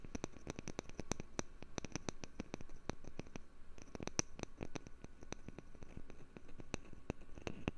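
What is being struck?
Wooden lid.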